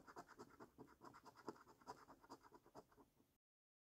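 A coin scratches the latex coating off a flat, thin cardboard National Lottery Luxury Lines paper scratch card resting on a wooden table. About eleven quick, uneven rasping strokes are heard, each a short, dry, papery scrape. The scratching stops abruptly, followed by silence.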